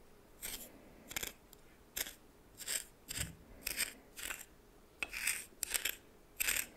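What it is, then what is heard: Coarse salt scraped in a bowl. A red plastic spoon held in the fingers stirs and scrapes a pile of white coarse salt in a small bowl, seemingly glass. Short bursts of scratchy, gritty crystal scraping repeat with brief quiet gaps between them. The sound is bright and high, with almost no low end and no ring after each stroke.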